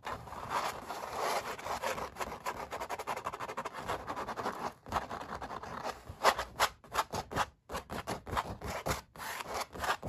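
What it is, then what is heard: Painted canvas being scratched. Fingertips rub and nails scratch across the paint strokes of a stretched oil painting on canvas. The result is a dense run of dry, raspy scraping strokes centered in the midrange around 1 kHz. Later comes a series of separated, sharper scratches with brief pauses between them.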